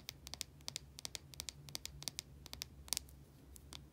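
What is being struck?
Solid soap bar.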